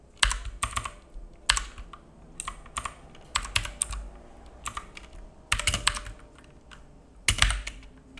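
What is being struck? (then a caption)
Plastic mechanical keyboard. Fingertips of both hands type on a black full-size mechanical keyboard with plastic keycaps and a hollow case, resting on a wooden desk. Irregular bursts of sharp, bright clacks come with a low hollow thump under each key tap, between short pauses.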